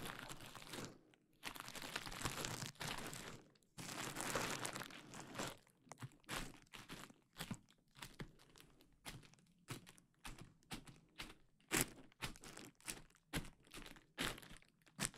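A large sheet of clear plastic bubble wrap draped over the microphone is handled by fingertips that pinch and pop the bubbles. Loud, bright crinkling and rustling of the plastic fills the first few seconds. It then gives way to a quick run of sharp, dry pops with short rustles between them.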